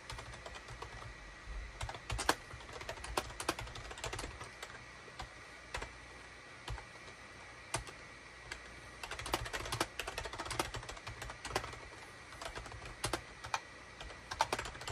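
A full-size gray SHIPADOO K600 wired USB keyboard, with a hollow gray plastic case and cream, gray and orange plastic keycaps, sits on a desk mat and is typed on rapidly with the fingertips of both hands. Quick, dry plastic clacks tumble out in uneven bursts, with occasional louder key strikes over a faint steady background tone.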